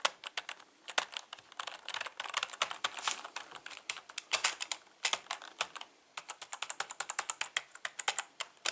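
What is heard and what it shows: Fingertips type fast across a full-size black plastic membrane keyboard with Cyrillic and Latin labels and a hollow plastic housing. The keystrokes come as rapid, dry, bright clicks with almost no ring and no low end, dense through the middle. Typing pauses briefly around six seconds, then resumes in a steadier run of distinct taps.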